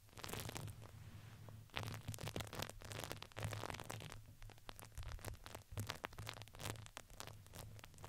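A medium-sized, soft, hollow red fuzzy fabric ring with a satin top and crinkly filling, fitted around a microphone head, is scratched and squeezed with fingertips and long painted nails. The result is a dense run of close crinkles, scratches and rustles with bright, crackly bursts, over a steady low hum near 109 Hz.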